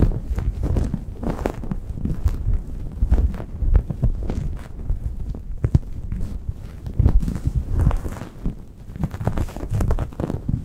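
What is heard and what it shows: A grey microfiber towel draped over a Blue Yeti microphone is scratched and rubbed with long painted nails and fingertips, at fast and slow paces. The sound is a dense, muffled stream of low, thumping scratches and rustles, with almost all its energy in the deep lows and no bright highs.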